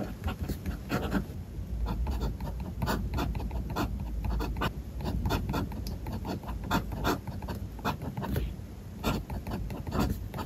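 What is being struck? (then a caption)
Metal fountain-pen nib on paper notebook page. A metal fountain-pen nib scratches steady writing strokes across the flat white paper of a spiral notebook. Short, bright scratching bursts repeat over a soft, low rumble, each stroke fading almost at once.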